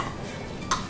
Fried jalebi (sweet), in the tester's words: इसकी आवाज से पता चलता है कि जलेबी कितना क्रंची